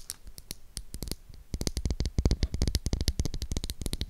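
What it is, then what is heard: Bar of soap. Long acrylic nails tap and scratch the face of a solid pink oval Dove soap bar held in the hand close to the mic. About thirty short, dry clicks land in an irregular rhythm, each with a low thump and a bright tick and no ring. They are sparse for the first second and a half, then come faster and louder.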